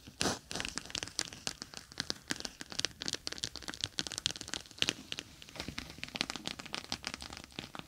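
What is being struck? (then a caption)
Plastic gel bead eye mask. Long nails rapidly tap and scratch across the bumpy surface of a clear, bead-filled plastic gel eye mask with a green fabric rim, lying on a microphone. A dense stream of sharp, bright clicks and crinkly scratches fills the clip, with very short decays and little low end.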